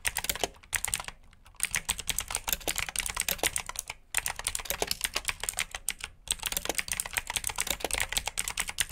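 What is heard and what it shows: Fingertips type steadily on the keycaps of a black plastic backlit mechanical keyboard with blue switches, producing bright, crisp clicks in rapid bursts. Brief pauses break the typing near one second, four seconds and six seconds. Each click stops almost instantly.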